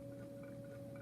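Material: Nothing is struck.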